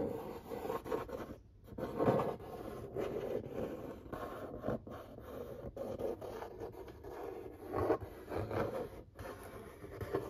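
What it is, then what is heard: Cardboard pizza box being scratched. Fingertips scratch and trace the printed artwork on the lid of a large, flat corrugated cardboard pizza box. Soft, dry scratching and rubbing strokes come in uneven bursts with brief pauses, their papery sound centered in the mid range around 540 Hz.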